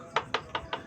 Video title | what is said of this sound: [ SISI LAIN - KILAS MALAM ] Baru Episode Pertama...Udah Bikin Bulu Kuduk Merinding... | Kayu benar-benar kayu. Benar-benar suara kayu.